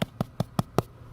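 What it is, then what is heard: Debris-clogged gutter downspout, dull. Five evenly spaced taps on a gutter downspout give short, dull thuds that die out almost at once, lacking the ring of the hollow-sounding section above. The muffled sound points to the downspout being packed full of debris.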